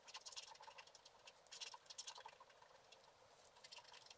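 A wooden stylus is scratched in short strokes across a flat scratch-art sheet, black wax coating over colored paper, held down by one hand, removing the black coating. The result is quiet, dry, bright scratching in quick clustered bursts with brief lulls between them, with almost no low end.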